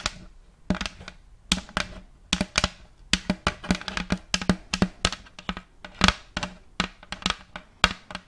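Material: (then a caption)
Wood. Long fake nails tap and scratch the surface of an empty, round, thin plate of checkered light wood held facing the mic. Around thirty short, dry, bright clicky taps come in irregular bursts, each dying away almost instantly, with faint scratching between them.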